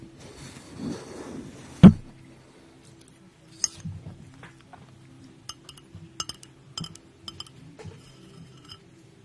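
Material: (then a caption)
Glass. Long acrylic nails tap the glass sides and rim of a small clear glass jar or mug with a pink lid, held in one hand close to the mic. A soft, low rustle leads into one sharp, loud clink, followed by a scattered series of quieter, short clicks and taps with little ring.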